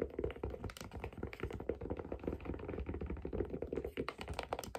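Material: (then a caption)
Leather, metal. Long dark fingernails tap rapidly on the underside of a white figure skate held in the hands, hitting its brown leather or wood sole and the silver metal blade mounting plate with its screws. The result is a dense run of short, dull, knocking taps with a low thump and a faint hollow tone.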